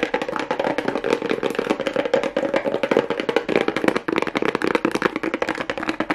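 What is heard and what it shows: Long acrylic nails tap and scratch quickly over a strip of pink plastic rhinestone mesh on a small hollow cardboard box. The result is a fast, dense run of dry, woody clicks with almost no ring, centered in the low-mid range around 300 Hz, with light scratchy texture between the taps.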